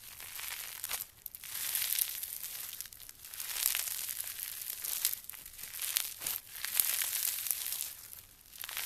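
A hand-sized ball of solid, soft pink slime packed with small polystyrene foam beads is squeezed, pressed and stretched apart by fingertips and long nails. It gives dense, crunchy crackling and crinkling in several swelling bursts with short quiet dips between them. The sound is bright and high with almost no low end.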